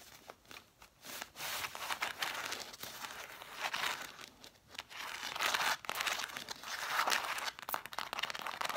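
Long black nails tap and scratch quickly on a stack of red cloth-bound hardcover books, spines facing out. Dry, crinkly scratching rasps with quick sharp taps fill the clip, bright and papery with no low end. The bursts swell and fade in uneven waves, centered in the upper midrange.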